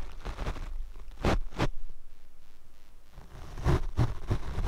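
A paint brush is swept across the black foam windscreen of a Rode microphone, producing soft, rough swishing strokes. The sound is dominated by deep low thumps and rumble, with a few stronger brush passes standing out between quieter rustling. The strokes come at an uneven pace.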